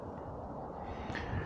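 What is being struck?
Nothing is struck.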